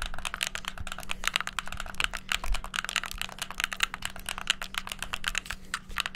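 Thumbs and fingertips rapidly press the buttons of a hollow white plastic gamepad. The result is a fast, uneven stream of dry, bright plastic clicks and taps that die away almost instantly, over a faint steady low hum.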